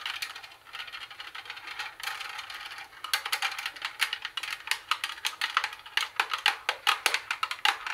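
Long nails tap and scratch on the speaker grille and plastic tuning panel of a plastic CD cassette boombox. A dry, bright scratching texture fills the first few seconds, then gives way to quick, crisp clicking taps with almost no low end and very short ring.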